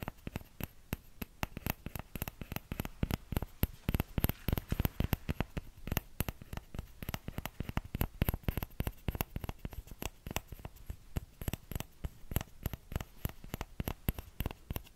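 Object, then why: Small plastic ladle. A small orange plastic ladle is held by its handle while fingertips tap its hollow bowl. Dozens of quick, irregular taps sound as dull, low thuds that die away almost instantly, over a faint steady hiss.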